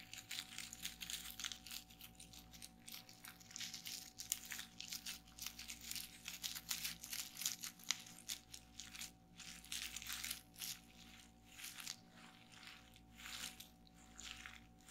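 Fingertips and nails of both hands press and pop the air bubbles of a flat sheet of clear plastic bubble wrap on a table. A quiet, rapid stream of small, sharp pops and bright crinkling plastic goes on throughout, with each pop cutting off almost instantly. A faint, steady low hum sits underneath.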